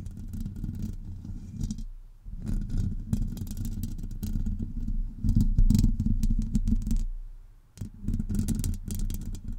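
Long acrylic nails of both hands scratch the hollow domed metal mesh grille of a Blue Yeti USB microphone, making a dense, low rumbling scrape with fast clattering texture. The scratching swells and fades in bursts, dropping out briefly near 2 and 7.5 seconds before resuming.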